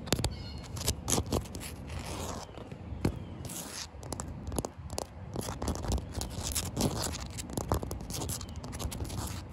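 Short white-painted fingernails scratch and tap across a large, solid outdoor concrete slab with damp patches. Dense gritty scraping mixes with quick, dry clicks and taps, each dying away almost instantly. The texture is mostly low and rough, with brief bright edges on the sharper strokes.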